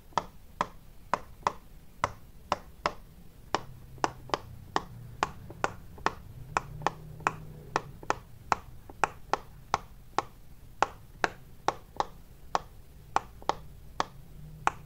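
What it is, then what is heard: Silicone pop-it fidget toy. A large square rainbow-striped silicone pop-it fidget toy with many small hollow bubbles has its rows of bubbles pressed and popped by fingers and knuckles. The clip carries 33 short, dry pops at a steady, fairly quick pace, each a crisp snap centered around 840 Hz that dies away almost instantly. A faint low hum sits underneath.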